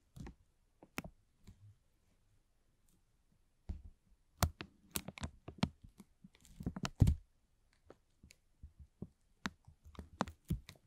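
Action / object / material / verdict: scrape / thin plastic film bag / plastic film / none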